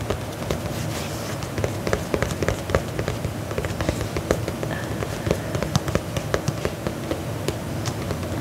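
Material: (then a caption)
Faux leather. Fingernails tap and scratch the upper of a black faux leather lace-up combat boot held upright. Quick, dry little taps land over a steady low, scratchy rustle, each click dying away almost instantly.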